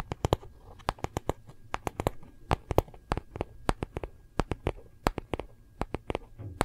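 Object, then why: Hardcover paper notebook tapped with fingernails. Long nails tap quickly on a small, solid gold-foil hardcover paper notebook and scratch along its cover and edges. About thirty sharp, dry clicks ring out in an uneven run, with a soft, low scratchy rustle between them.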